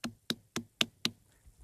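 A watermelon on a family farm is knocked five times in quick succession, giving short, sharp, bright knocks that die away almost instantly. The melon is judged ripe and ready to go, since a ripe melon gives a good hollow sound when knocked.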